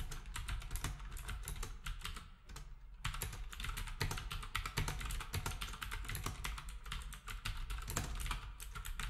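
Fingertips of both hands type rapidly on a black wireless typewriter-style keyboard with round plastic keycaps and a hollow housing. The result is a dense stream of quick, clicky key taps with a hollow, low-heavy thump under each press, easing briefly around the two-to-three-second mark before picking back up.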